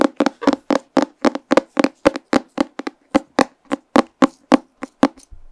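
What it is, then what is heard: Paper comic book. A pink paper comic book is held closed in front of a microphone while fingernails tap and scratch its cover. About 23 short, dry, papery taps come in an uneven quick series, each dying away almost instantly, followed by a soft scratching rustle at the end.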